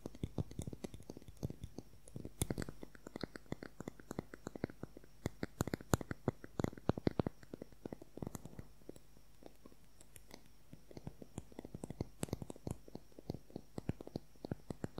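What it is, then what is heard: Plastic concealer tube. A slim plastic concealer tube with a pale cap and beige product inside, held in both hands above the mic, is tapped and scratched quickly with long fingernails. Several dozen short, dry taps and clicks come in rapid, uneven bursts, each dying away almost instantly. They sit low and soft over faint scratching and a steady low hum.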